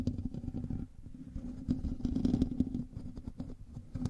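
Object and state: Metal mesh microphone grille.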